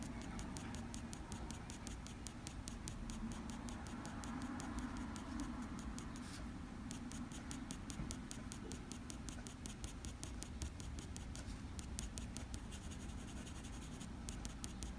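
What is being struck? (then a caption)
Graphite pencil on drawing paper. A black wooden graphite pencil makes rapid, repeated short strokes across a sheet of drawing paper. The result is a quiet, steady scratching patter with bright, ticking edges over a low, constant rumble.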